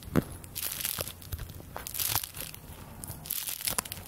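A small stack of thin handmade paper play-money bills is held in both hands and crinkled and flicked with long dark-painted fingernails and fingertips. The result is a run of quick, bright crinkles and crisp snaps over a soft steady low hum, with each sound dying out almost at once.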